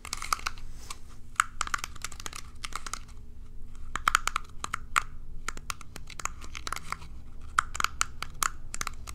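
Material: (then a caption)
Plastic. A small rectangular plastic hairbrush with plastic pin bristles is held in hand while long nails strum and scratch across the bristles. The result is a dense run of sharp, bright plastic clicks and flicking ticks that come in quick bursts and die away almost instantly, with brief pauses between them over a low, steady background rumble.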